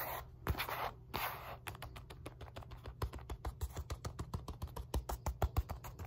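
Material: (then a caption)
Synthetic leather. Long nails scratch and tap the padded face and rim of a black padded synthetic leather focus mitt, a leather punch mitt. It opens with a few broad, hissy scratches, then shifts into a fast, irregular run of dry taps. Each tap has a soft low thump and a short bright click that dies away almost instantly.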